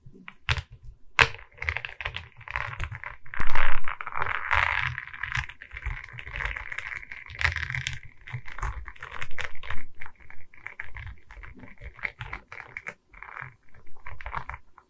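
A diamond painting on a wooden canvas, a flat rectangular board covered in small resin rhinestone beads on a wooden frame, is held in both hands while long red nails tap and scratch across the bead surface. Dense, rapid clicky taps mix with gritty scratching passages. The sound is dry and close, with a low thud under the bright plastic clatter.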